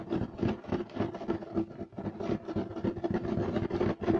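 Clawed fingertips scratch fast and hard across a beige striped woven fiber carpet. The result is a rapid run of rough, raspy strokes that rise and fall in loudness, with a steady low-mid tone running underneath and nothing bright on top.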